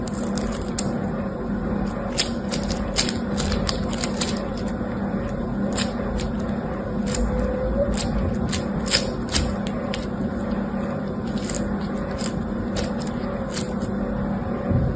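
A handful of yellow and green foam-bead slime (floam) is squeezed and pressed between fingertips with pink nails. It gives off a steady run of small, bright crackles and pops over a low, constant background hum.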